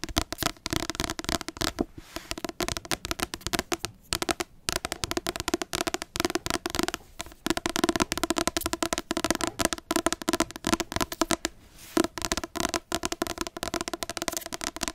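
Dense runs of quick clicking taps mixed with scratchy strokes, each hit dying almost instantly with a light mid-high papery tone. Nails are working over a paperback book's glossy card cover, which gives a crisp, dead sound in a small room.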